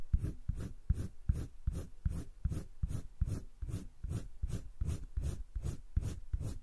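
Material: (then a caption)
Paper. A light green wooden colored pencil held in the fingertips scratches short strokes across a flat sheet of a spiral-bound drawing paper sketchbook. About 17 quick, dry strokes repeat in a loose, steady rhythm, each a soft low-heavy scrape with a faint bright hiss and no ring afterward.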